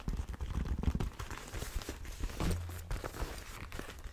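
Fingertips and nails tap and scratch across an empty black leather motorcycle glove with hard knuckle armour. The result is a close, busy run of soft, dull, low taps with short decays, mixed with faint crinkling and scratching of the leather.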